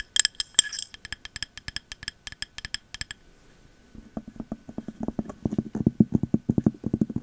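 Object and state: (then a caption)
Glass candle jar with cork lid. Long metal nail caps tap and scratch a clear glass candle jar with a thick cork lid and paper label. First comes a run of bright, clinking glass taps with short high ringing. Then a quieter pause gives way to faster, duller, low-pitched knocks on the cork top.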